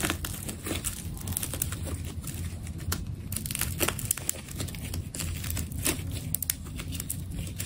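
A utility knife cuts and scrapes around the narrow waist of a solid, hand-held, hourglass-shaped ball of layered orange adhesive tape. The sound is a steady stream of dry crinkling, crackling and tearing, with sharp bright clicks over a constant low rumble.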